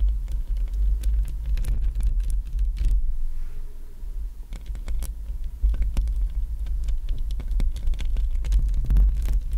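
Long acrylic nails on both hands tap and scratch across the surface of a hollow black metal mesh microphone grille. A heavy low rumble sits under a rapid, irregular patter of sharp clicks and scratchy strokes, easing briefly in the middle before picking back up to a steady, busy tapping.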